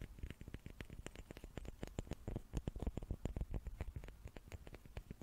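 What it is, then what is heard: Wooden cubes. Small wooden cubes are tapped with the fingertips in a quick, uneven flurry of soft, dull knocks. Each tap is short and dry with almost no ring, and the sound sits mostly in low thumping tones.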